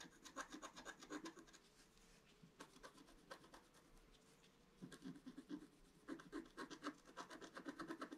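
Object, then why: Coated scratch-art paper sheet scratched with a wooden stick. A pointed wooden stick scratches across a flat scratch-art page, black coating over colored paper. Quick, rhythmic rasping strokes come in two busy bursts, separated by a quieter stretch of softer, sparser scratches. The strokes are dry and gritty, with a brief bright edge.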